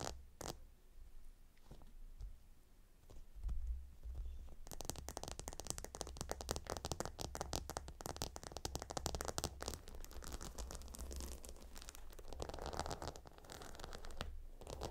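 Fingertips and nails scratch across the hexagonal stone tiles of a gemstone hot stone pillow. After a few seconds of quiet, sparse taps, a dense, continuous stream of bright clicking scratches begins and runs to the end over a low rumble.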